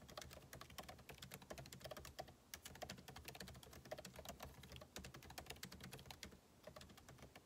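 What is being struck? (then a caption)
Laptop keyboard with plastic keys in a metal body. Two hands type with their fingertips on the backlit keyboard of a MacBook Pro laptop, whose plastic keycaps sit in a hollow aluminum body. A steady stream of quick, dry key taps mixes bright clicks with soft low thuds, each tap dying away almost at once. The typing eases off in brief lulls before picking back up.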